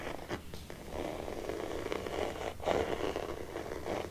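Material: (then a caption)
Faux leather. A hollow, hard-shell red faux leather glasses case, held upright in one hand, is scratched and stroked along its surface with fingertips and medium-length painted nails. This makes a soft, continuous scratchy rasp centered in the low-mid range, with a few brief louder strokes standing out.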